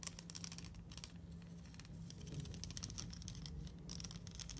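A hollow rainbow plastic coil spring toy is held in the hands, stretched, shaken and handled with fingers and long nails. It makes quiet, rapid, bright plastic clicks and rattling patter with very short decay. A steady low hum sits underneath throughout.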